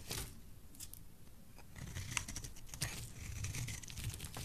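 A black-handled utility blade scrapes and shaves thin strips from a solid, dry, oval pale yellow bar of soap held in the hand. The quiet strokes come as dry, crisp scrapes and crackling shavings with bright, hissy bursts over a low, soft rumble.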